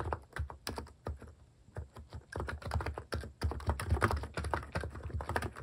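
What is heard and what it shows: Fingertips type steadily on a compact plastic mechanical keyboard with plastic cat keycaps. Quick, short keystrokes give dull, low clacks that die away almost instantly. The taps start spaced apart and then run into a faster, denser flurry.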